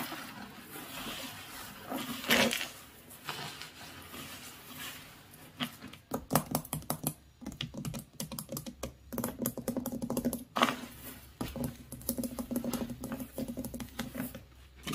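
Fingertips and nails scratch and rake quickly through beach gravel of coarse grit and shell bits with larger pebbles. A soft, scratchy rustle with one sharp crunch early on gives way to dense, crisp clicking and rattling as the stones shift and knock together.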